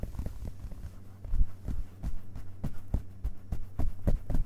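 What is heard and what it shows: Fingerpads of both hands tap the printed paper pages of an open hardcover book's solid page block as it rests on a carpet. The result is a quick, uneven run of soft, dull, very low thuds that die away almost instantly, over a faint steady low hum.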